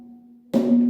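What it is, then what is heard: Hollow-sounding porous cave rock. A person strikes the Somkubasko rock, a cave formation shaped by slow-flowing water whose porous inner structure makes it sound hollow. After a faint low hum, a single strike produces a hollow, drum-like knock that rings on with a steady tone around 240 Hz until the clip ends. This is the sound once used by the Swazi people as an alarm.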